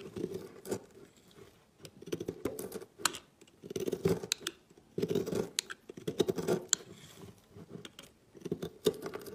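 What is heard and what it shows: A knife blade cuts into a solid green and yellow marbled soap bar and scrapes off flakes over a pile of shavings. Soft, crumbly scraping strokes come in bursts, with sharp bright clicks and ticks between them. Each contact dies away almost instantly.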